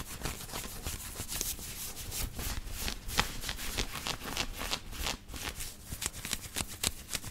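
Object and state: Cotton t-shirt being scratched.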